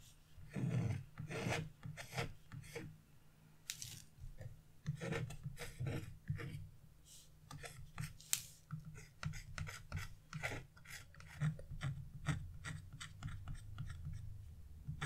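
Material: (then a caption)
Waxed paper. A wooden-handled chisel scratches black wax-coated scratch-art paper resting on a wooden table, using light feather strokes. Quick, dry, raspy scrapes come in irregular bursts with bright, hissy edges over a steady low hum, each stroke stopping short with no ring.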